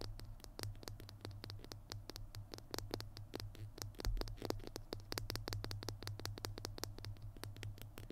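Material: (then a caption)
Plastic. Fingernails rapidly tap and scratch along a small hollow plastic glue stick held horizontally in both hands. The sound is a dense stream of sharp, bright clicks with a faint scratchy texture over a steady low hum. Each tap dies away almost instantly.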